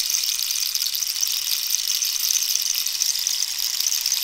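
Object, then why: Cactus wood rainstick. A hollow cactus-wood rainstick is held diagonally while long nails scratch and rub its textured wood. The result is a steady, bright, hissing scrape with a fine crackle, concentrated almost entirely in the high range with no low end.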